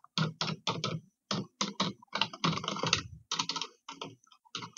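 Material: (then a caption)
Plastic. Long red-painted nails and fingertips type on and tap the hollow keys of a dark grey plastic computer keyboard. Quick clusters of bright, clacky key clicks come in short bursts separated by brief pauses, each click dying away almost instantly.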